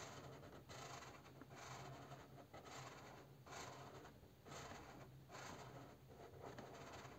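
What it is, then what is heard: Crayon scribbling on a printed cardboard box. A purple crayon rubs back and forth in steady coloring strokes over a bear figure printed on a hollow cardboard box, while a hand holds the box still. The sound is a soft, scratchy scribbling that swells and dips with each stroke, bright rasping over a faint low hum.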